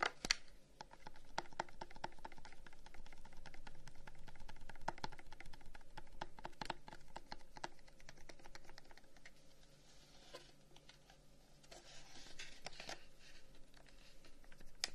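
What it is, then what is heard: Carved wooden incense box. Fingertips tap the carved side of a long, hollow wooden incense box held at an angle, making quick, dry, irregular clicks that die away almost at once. The taps come in uneven flurries over a low background hum, quieting slightly near the middle before picking up again.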